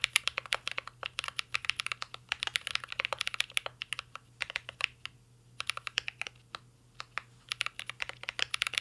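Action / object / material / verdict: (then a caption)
tap / mechanical keyboard with metal case and plastic keycaps / metal, plastic / none. Steady fingertip typing on a full-size mint-green Cyberboard R3 mechanical keyboard with a metal case, plastic keycaps and Holy Panda switches, resting on a desk. Dense, sharp, bright clacks come in quick runs with a few brief pauses, each keystroke dying away almost instantly over a faint low hum.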